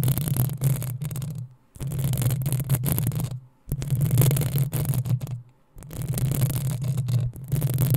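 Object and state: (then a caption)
Metal mesh microphone grille being scratched. Long acrylic nails of both hands scratch the hollow metal mesh head of a black desktop USB microphone. The result is four bursts of dense, rubbing scratches with a strong low rumble and a bright, hissy edge, separated by brief near-silent pauses.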